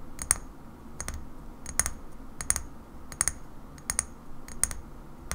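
A small cobalt-blue glass bottle of rosehip oil with a paper label, held in one hand, is tapped on the glass with long fingernails. Slow, uneven sets of short, bright clicks, often in quick pairs, die away almost instantly over a soft, steady low rumble.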